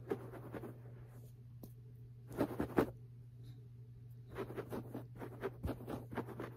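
Fingertips and nails of both hands rapidly scratch and tap a low-pile beige fabric carpet lying on the floor, a flat, solid surface. Dry, bright scratching rasps come in quick bursts separated by short quiet gaps, with a steady low hum underneath.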